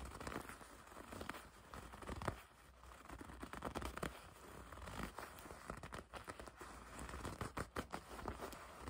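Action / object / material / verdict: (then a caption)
scrape / leather jacket / leather / none. A dark leather jacket is held bunched while long red nails grip, squeeze and scratch the leather near the drawstring. Dense, irregular crinkling, creaking and scratching bursts rise and fall over a steady low hum, with brief sharp crackles.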